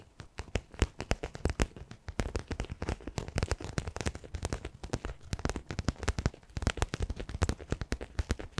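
Fingertips and short nails tap and scratch the surface of a small, hollow, soft-sided black faux leather zippered pouch held in both hands. Rapid, dry, close-up taps with a dull low thump and very short decay run throughout, mixed with faint scratching.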